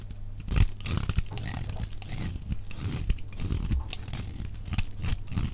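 A utility knife blade shaves and carves curling chips off a solid, dry pink oval soap bar held in one hand, played back at double speed. The scrape-and-cut strokes make a steady stream of crisp, crunchy tearing sounds with a heavy low thump and bright edges, and a few sharper cuts stand out.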